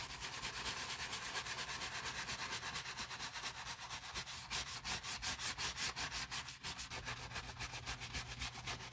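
A wooden-handled natural bristle brush scrubs the lathered grey nylon lining fabric of a Prada nylon bag while a gloved hand holds it. Quick back-and-forth strokes, roughly three per second, make a steady, bright, raspy hiss with a faint low hum underneath. The scrubbing grows a little louder and more distinct in the middle of the clip.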